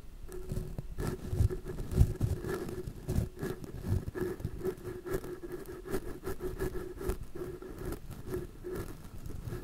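A wide orange-bristled paintbrush sweeps back and forth across two crossed, small, hollow metal mesh microphone grilles. The brushing makes soft, scratchy patters and rubbing scrapes over a heavy low-end rumble, with a faint steady tone running underneath.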